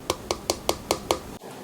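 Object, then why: Plastic headphone frame. Six evenly spaced taps on the plastic structure surrounding the ear cups of a Hifiman HE-R9 headphone give short, hollow clicks that die away almost at once. The frame is plastic, unlike the aluminum structure of the HE-R10D.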